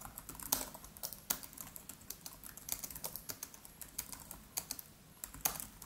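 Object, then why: Laptop keyboard, plastic keys on aluminium body. Fingertips of both hands type rapidly on the black plastic keys of an aluminium-bodied MacBook Pro laptop keyboard. The result is a steady stream of quick, bright clicks with sharp attacks and very short decay, with occasional louder taps standing out.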